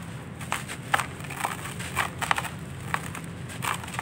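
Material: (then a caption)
Clay. Bare hands crush and crumble dry sandy clay chunks in a red plastic basin, breaking them into dusty grains. Short, dry crunching crackles pop out irregularly over a faint low background hum, each one gritty and bright and dying away almost at once.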